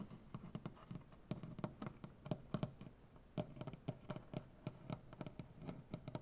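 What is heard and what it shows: Both hands tap and scratch quickly with nails and fingertips on a solid light wood butcher block tabletop. The result is a rapid, irregular patter of short, dry knocks with a low wooden body and bright clicks, over a soft scratching hiss. The taps die away almost at once.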